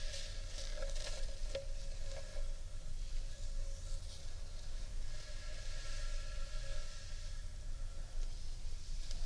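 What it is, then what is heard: Wooden bowl rim being rubbed. Fingertips and long painted nails rub along the rim of a large, hollow, empty carved wooden bowl held upright. A soft, continuous scratchy rubbing sits over a deep low rumble, with a faint steady ringing tone around 550 Hz that swells and fades as the rubbing continues.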